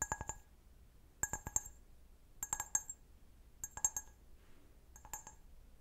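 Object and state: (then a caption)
Glass wine glass. An empty, medium-sized clear stemmed wine glass is held sideways while fingernails tap its foot and bowl. Five quick bursts of light, bright clinks ring out with a high glassy tone that fades almost at once, separated by short quiet pauses.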